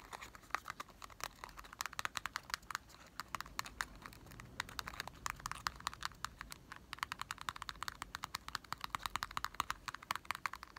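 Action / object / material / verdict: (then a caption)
tap / small printed cardboard candy box / cardboard / none. A small printed cardboard box of Marble chocolates, hollow and likely holding candy, is held in the hand and tapped rapidly with short fingertips and nails. The result is a quick, steady stream of dry, hollow clicks and taps with a papery, slightly bright tone centered around 1.1 kHz, little low end and almost no ring after each hit.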